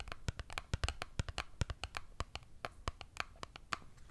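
A small printed cardboard Dove soap box, closed with a bar inside, is tapped and scratched with long nails. It gives a rapid, irregular series of short, dry clicks and scrapes with a soft, hollow low thump under bright, crisp edges. Each tap dies away almost instantly.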